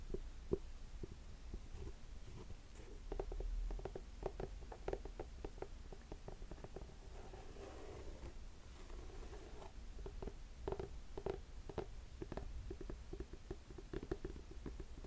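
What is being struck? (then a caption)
Suede boot with rubber sole. Long nails tap and scratch the black rubber sole of a black suede boot turned upside down. The quiet, dull, short taps have a low-heavy tone, with a stretch of soft scratching in the middle.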